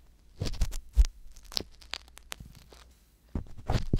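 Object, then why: Silicone ear on a microphone, ear pick. An ear pick scratches and pokes inside the canal of the right silicone ear on a binaural microphone. Muffled, low thumps mix with dry, crackly scrapes and a few sharp, bright clicks. Short quiet gaps separate the bursts.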